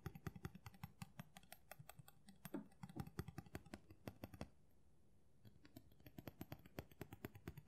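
Fingernails tap quickly on the solid blade of a steel kitchen knife with a black handle, held in both hands. The result is a dense run of short, sharp clicks with a low, dull body and a bright edge. There is a brief quiet pause near the middle before the tapping resumes.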